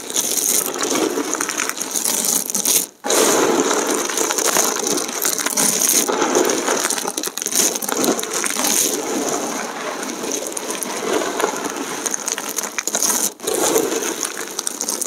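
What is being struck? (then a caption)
Thin dried soap plate fragments. Bare hands grab, squeeze and crush handfuls from a heap of thin, brittle, colorful dried soap fragments, with fingertips pressing into the pile. A dense, continuous crackling and crunching runs throughout, bright and crisp with no low rumble, broken only by brief near-silent pauses around 3 and 13 seconds.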